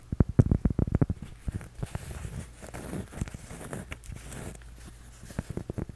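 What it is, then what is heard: Cork coaster. A flat, solid, toast-shaped cork coaster about the size of a palm is held in both hands and tapped with fingertips and short nails. A quick run of dull, low, thumping taps opens the clip, then gives way to softer scratchy tapping and rustling, with a few sharper taps returning at the end. Each tap dies away almost instantly, leaving no ring.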